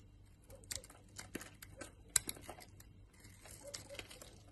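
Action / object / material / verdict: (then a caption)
scrape / bar of soap cut with a knife blade / soap / none. A utility knife blade carves powdery flakes off a solid white Lux soap bar held in the hand. The sound is quiet, bright scraping and crisp crackling, with a few sharper clicks as the blade bites, over a faint low hum.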